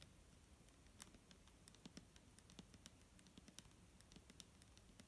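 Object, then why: Plastic bottle of liquid. Long nails tap the front and label of a large, clear plastic micellar water bottle, full of liquid and held in the hand. A quiet, irregular stream of short, dry clicks with bright, crisp tips rises over a steady low rumble. Each tap dies away almost instantly.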